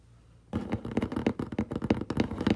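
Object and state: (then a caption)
Cardboard box being scratched. Fingertips and short nails scratch and rub the flat side of a large, hollow, brown corrugated cardboard box. After half a second of near silence, a quick run of dry, papery scratches starts, with a hollow low thud under each stroke.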